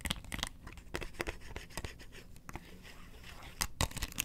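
Long nails scratch across the ridges of a hollow, round yellow plastic lid in a series of quick, dry strokes. Each stroke gives a short, bright, raspy scrape with a faint hollow low knock beneath it, and the sound dies away at once between strokes.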